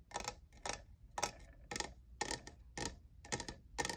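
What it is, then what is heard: Plastic studded tumbler. Fingertips and nails tap the faceted side of a tall, hollow, lavender plastic jeweled tumbler that appears empty. Eight short, evenly spaced clusters of quick, bright clicking taps are heard, each dying away almost at once.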